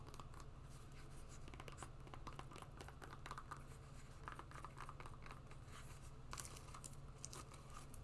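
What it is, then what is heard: Rubber and webbing sport sandal. Long nails scratch the sole and straps of a black and green rubber and webbing sport sandal. Quiet, steady scratching with short bright scrapes runs over a constant low hum.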